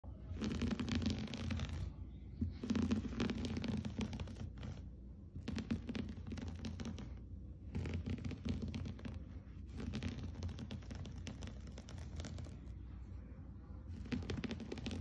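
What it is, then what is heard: Textile rug being scratched. Fingertips and short nails scratch across a large flat floor rug with a soft, fibrous, blue-and-cream geometric looped pile. The result is a dense, rough, rustling scratch that comes in repeated bursts with brief lulls between them. It is mostly low and warm, with a faint bright hiss on top.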